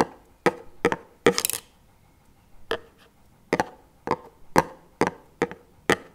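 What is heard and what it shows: A small plastic chocolate spread tub lies on its side while two wooden chopsticks are laid across the lid, rubbed and knocked against it. The result is a series of short, dry knocks with a bright click and a brief hollow tone around 480 Hz, plus a quicker burst of scraping taps in the middle.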